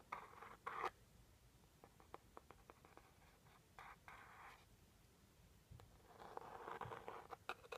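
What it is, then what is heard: Scratching a small cardboard box. A white pointed stick scratches the front of a small, hollow, teal rigid-cardboard jewelry gift box, then the box is turned onto its side edge. Dry scraping strokes in the upper mids alternate with short, sharp clicks and ticks, and a longer, denser bout of scratching comes near the end.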